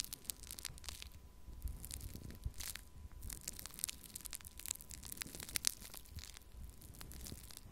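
A small plastic cup of pink foam-bead pearl clay is held in one hand and scratched and poked with a thin wooden stick. It gives a quiet, steady stream of dense, bright crackling and crunching clicks, like fine tearing and crinkling, with a low rumble underneath.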